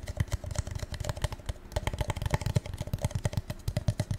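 A gold metallic paper cup is tapped rapidly and unevenly in a quick, irregular run of light taps. Each tap gives a short, dry, low thud with a faint hollow tone and almost no ring, so the sound comes across as soft, muffled clicking.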